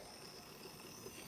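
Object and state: Nothing is struck.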